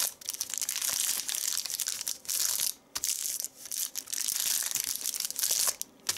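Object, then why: Thin paper sheet. A thin white paper sheet is folded and crushed by fingertips into a smaller wad on a leather seat. The result is a dense, bright, papery crinkling and crunching with almost no low end. It comes in bursts, with brief quiet gaps near 1, 3, 3.5 and 6 seconds.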